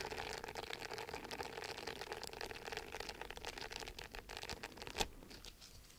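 Fingertips and nails scratch rapidly across the short bristles of a round, orange, palm-sized silicone face scrubber pad, a flat, solid exfoliating pad held in one hand close to the microphone. The result is a dense, steady, crinkly scratching with a bright, hissy texture and a faint mid-pitched tone running through it. One sharper click stands out near the five-second mark before the scratching softens toward the end.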